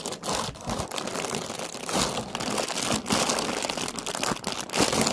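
Long nails scratch and crinkle a round orange paper lantern with a wire frame, hollow and painted with a pumpkin face, held in the hand. A steady, bright papery crackling and rustling runs through the clip with brief dips between strokes.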